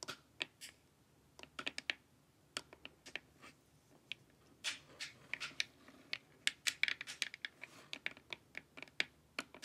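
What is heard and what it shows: Long nails tap the sides of a glossy, hollow plastic LED face mask in quick, uneven bursts. Dozens of sharp, dry clicks sound bright and crisp with almost no low end and stop instantly with no ring.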